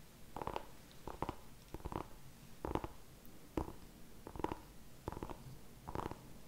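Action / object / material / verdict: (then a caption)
tap / small whole pumpkin / pumpkin rind / none. A small whole orange pumpkin is held in both hands while fingertips and nails tap and scratch its skin. Quiet, dry, hollow knocks and short scratchy bursts come in irregular clusters, with a low thump under each and almost no ring after.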